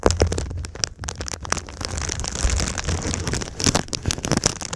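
Long nails and fingertips tap and scratch the surface of a silver foil-faced foam insulation sheet bent into a V shape. Sharp, crackly clicks and bright crinkling scrapes sit over a steady low rumble, with brief louder taps scattered throughout.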